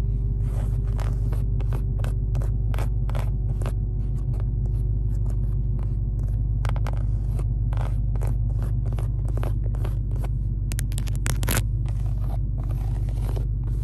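Long acrylic nails rapidly scratch and tap on the large, padded black leather seat backrest of a Charger Hellcat, with its embossed SRT logo, and run along its stitched seams. The result is a quick, uneven stream of short, crisp taps and scrapes over a steady low hum.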